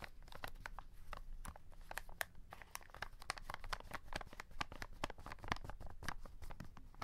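Fingertips rub and tap the plastic window of a full cardboard chocolate box held in the hand, giving a dense run of crisp crinkles, scratches and small taps. The box tilts at the end. The clicks are short and dry, and a low rumbling sits under them the whole time.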